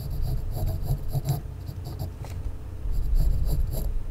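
A mechanical pencil scratches and draws lines across a small, unpainted, solid wooden toy race car held in one hand. Quick, uneven scratchy strokes repeat over a low, steady rumble, with brief bright rasps on each pass of the lead across the wood.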